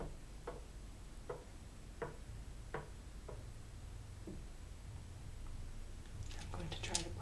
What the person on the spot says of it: the sound it makes when you tap away the game pieces As you move from Square to Square especially when you tilt the piece and move around